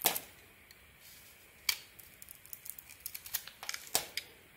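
A metal blade shaves the red coating off a solid oval red Elixir soap bar with gold star decorations, held in the hand, exposing the white soap underneath. Quiet, bright, crisp scraping and cutting clicks come in an irregular series of short strokes with little low end, each dying away almost at once.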